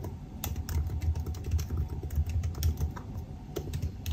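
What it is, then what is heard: Laptop keyboard typing. Fingertips type rapidly on a silver aluminium laptop's black plastic keys, producing a steady stream of soft, muffled taps. The taps are mostly low thuds with short, dry decays, and some keystrokes add a brief bright click.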